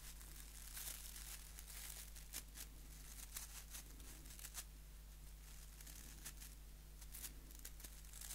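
Fingers scratch the white plastic bristles of a small, solid wooden nail brush held beside the microphone. Quiet, crackly, bright scratching comes in irregular bursts over a steady low hum.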